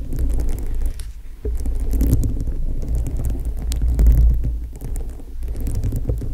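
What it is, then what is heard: Rhinestone-covered foam microphone windscreen. Long acrylic nails tap and scratch across a gem-studded foam microphone windscreen, a foam dome covered in plastic rhinestones. The result is a dense, muffled low rumble of soft tapping and scraping, with quick clicks that die away almost at once and no bright edge.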